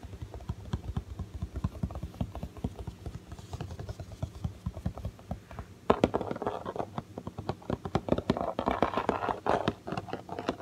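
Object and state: Cardboard toy box.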